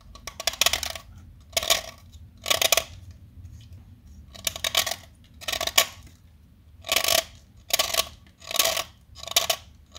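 A small, solid beige-white blackboard chalk stick is held by hand and carved with a metal utility-knife blade. Short, bright, gritty scraping strokes come in repeated bursts, separated by quiet pauses, as the blade cuts and shaves the chalk.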